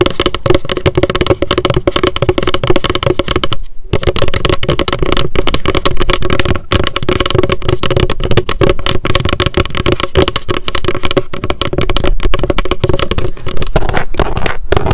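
A small pink m.memo spiral-bound paper notebook with a card cover, held in the hands, is tapped rapidly with long decorated acrylic nails. The result is a dense, steady stream of quick, dull taps, mostly low in tone with little brightness, broken by one brief pause near the four-second mark.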